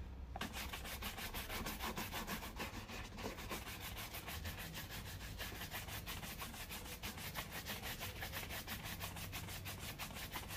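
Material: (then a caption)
Leather. A black leather loafer on a foot is brushed with a wooden-backed bristle shoe brush, the bristles rubbing across the leather upper. Quick, steady back-and-forth strokes make a dry, bright scrubbing rhythm of about three strokes per second. A low, constant hum runs underneath.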